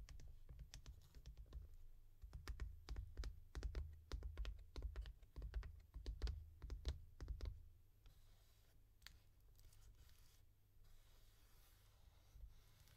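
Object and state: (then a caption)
Cardboard mailer box. Long dark nails tap quickly along the top edge and face of a small, hollow brown cardboard mailer box for a new tee shirt, held upright. Crisp, uneven taps with a low, hollow thump come in fast bursts for about seven seconds. They then give way to a quieter stretch with only a few soft, scattered taps.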